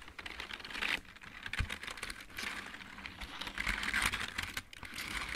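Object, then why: Plastic mechanical keyboard. Fingertips type on a full-size backlit plastic mechanical keyboard, one hand partly out of frame mid-stretch. A fast, continuous run of bright, clicky key taps with short pauses near one second and again around four and a half seconds.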